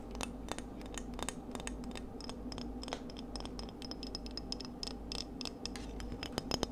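Seashells are tapped for ASMR, producing a dense stream of light, quick clicks and taps. The sharp, bright transients sit over a steady low hum, and each tap dies away almost instantly.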